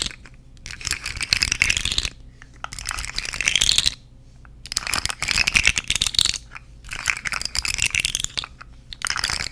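A purple and orange segmented plastic fidget slug is held vertically and moved by fingers with long nails, so its jointed segments clack and rattle. Four bursts of rapid, bright clicking come with short quiet gaps between them, and the sound is dry with almost no ring.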